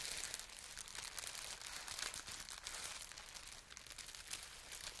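Fingers with long nails crinkle and rub a held-up piece of translucent green plastic air-pillow packaging, a thin, hollow, air-filled film. The result is a steady, dense stream of bright, crisp crackling and rustling, mostly high-pitched with almost no low end, running unbroken through the whole clip.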